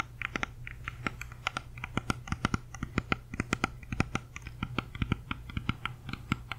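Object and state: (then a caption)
Whole apple. Long nails tap and scratch the waxy skin and stem area of a whole, solid, uneaten red-yellow apple held close to the mic. A quick, irregular run of short, dry clicks with bright ticking tops sits over a steady low hum. Each tap stops almost at once, with no ring.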